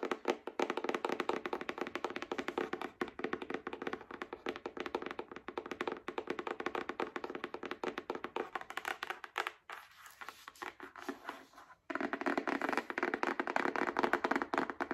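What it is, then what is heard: Hardcover paper book, solid. Long acrylic nails tap rapidly and continuously on the cover and spine of a solid *Spark Joy* hardcover book with a paper dust jacket. The taps are short and dry with a warm midrange body. They soften into a quieter, sparser patch partway through, then return at full strength.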